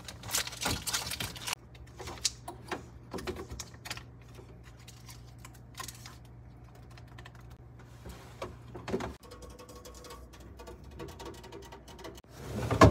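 Fingers tap on a refrigerator in rapid, light, typing-like clicks. The taps come in dense bursts at first, then turn sparser and quieter over a steady low hum. A louder, fuller rush of sound builds at the very end.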